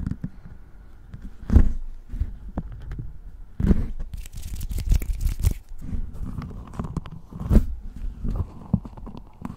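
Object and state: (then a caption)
Metal microphone body, dull hollow thumps. Fingertips tap and rub the hollow body of a large black metal USB desktop microphone, Blue Yeti style, held in both hands on its stand. The result is a steady stream of dull, low thumps and scratchy rubbing, with a few louder knocks standing out.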